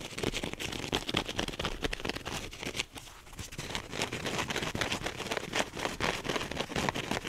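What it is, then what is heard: Foam sponge being scratched. A soft, porous teal wavy polyurethane foam sponge is squeezed and scratched quickly with the fingernails and fingertips of both hands. The result is dense, irregular, bright scratching and crackling with rapid short bursts, and a brief quieter lull near the middle.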